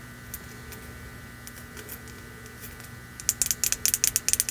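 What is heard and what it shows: A hollow, apparently empty red glazed ceramic mug lettered "Merry Christmas" is held in the hands and tapped with long nails on its outer wall and rim. After about three seconds of faint, scattered ticks over a quiet steady hum, 11 quick, bright, dry clicks follow in an uneven rhythm and die away almost instantly.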